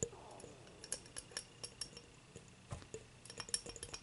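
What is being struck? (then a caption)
Glass beer mug. An empty, clear, dimpled glass beer mug is held and tilted by hand while long nails tap its base and sides. A loose series of short, bright clinks and ticks comes irregularly over a faint low hum, with the taps bunching closer together near the end. The clearest tap lands right at the close.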